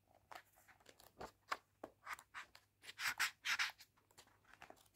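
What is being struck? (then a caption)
Paperback book paper pages. Fingertips and nails rub and turn the paper pages of an open Heartstopper paperback graphic novel. A quick run of dry, bright papery scratches and rustles comes in short bursts, building to louder swishing sweeps in the second half with no low end beneath them.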